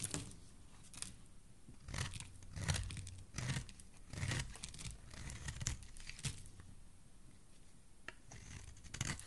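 A solid green soap bar, held in fingers with dark nails, has its edge scraped and shaved with a metal blade. Irregular crisp, crackly scraping strokes come in short bursts with a soft low body beneath a bright, papery texture. Quiet pauses fall between the strokes.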